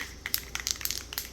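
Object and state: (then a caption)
Spray paint can with mixing ball rattling freely. A metal aerosol spray paint can is shaken by hand, its mixing ball rattling freely inside with a run of sharp, bright clicks. Rattling indicates the paint has loosened and needs at least two minutes more shaking to mix. The clicks are high-pitched and crisp with almost no low end.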